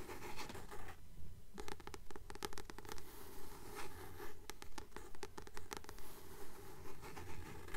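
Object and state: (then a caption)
Paperback book, glossy cover tapped and scratched. Long nails tap and scratch the glossy card cover of a solid blue paperback book held upright in both hands. Quiet, steady, rhythmic taps with short, dull low thumps are mixed with bright, dry scratching clicks that die away almost at once.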